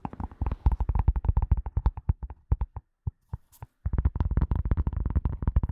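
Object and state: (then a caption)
Leather glasses case. A flat, hollow, light gray leather glasses case, held horizontally and then vertically in front of a microphone, is tapped and scratched with the long nails of both hands. Rapid runs of dull, deep, short thumps, about 32 in all, come through with a faint lighter click on top of each. A brief near-silent pause with a few sparse taps and a soft scratch comes before the quick tapping resumes.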